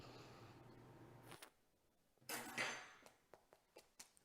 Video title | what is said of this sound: Beth Dimino is in My Bubbie's Kitchen: Chicken Pot Pie | can you hear that how crispy that is